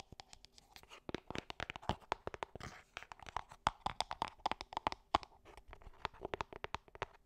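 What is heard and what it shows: Long nails tap and scratch a small, hollow gold cardboard perfume box held close to the microphone. The result is a quick, irregular run of crisp, dry clicks and papery scratches with a light hollow tone around 800 Hz and almost no ring.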